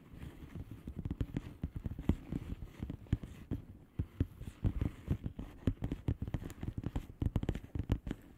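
Long fingernails of both hands tap and scratch across the air-filled bubbles of a flat blue plastic bubble wrap envelope. A rapid, irregular stream of short, dull taps runs throughout, with soft scratching in between. The taps sound muffled and low, each dying away almost instantly with little brightness.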